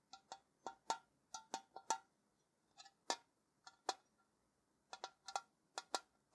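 A tall, hollow printed metal Ceylon tea tin, held on its side, is scratched and rubbed with fingernails along its surface. About 18 quiet, short scraping bursts come in irregular clusters, each with a bright hiss and a faint metallic ping near 900 Hz that dies away almost at once.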